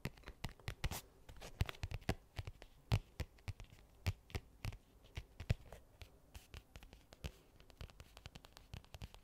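Fingernails tap and scratch a medium-sized, hollow black hard-shell case with a faux leather cover. Rapid, irregular taps give dry, sharp clicks over a low, hollow thump around 100 Hz, each dying away almost instantly. Softer scratching fills the gaps between taps.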